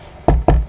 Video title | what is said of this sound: UFC 194 Was Conor McGregor Right About Jose Aldo Being The Old Gorilla? | Knock on Wood that's real wood I just knocked on